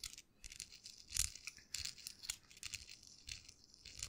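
A small folded US dollar bill of thin paper is crinkled and rubbed with fingertips close up, giving quiet, bright crackling and rustling in quick irregular bursts. The sound is dry and papery, mostly high and hissy with little low end, and each crinkle stops short with almost no ring.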